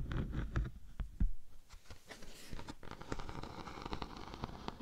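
A thin, flat, solid natural beeswax sheet with a honeycomb texture is held in the hand and scratched with long nails. Quick dry scratches and light crackles come in uneven bursts, with a few louder, heavier bumps near the start, then settle into a steady textured scraping.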